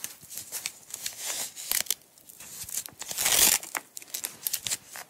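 Long acrylic nails peel and pull a small, partly unwound green nylon velcro strap away from its coil. Bright, crackly ripping comes in short repeated bursts, with the longest and loudest tear about three seconds in.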